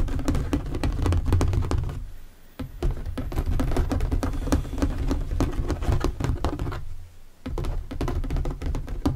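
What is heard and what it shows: Fingertips and nails tap rapidly on the flat top of an empty, hollow translucent plastic storage box lying on a table. The dense, irregular taps give low, hollow thuds with short, dry decay, pausing briefly twice before resuming.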